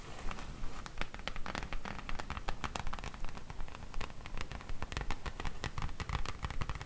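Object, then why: Cardboard book slipcase. Long nails on both hands tap and scratch quickly across the glossy front face of a large printed cardboard slipcase full of books, standing upright on a table. The result is a steady, fairly regular stream of quiet, crisp clicks and scratchy rustles, each tick short and dry over a low, soft thudding body.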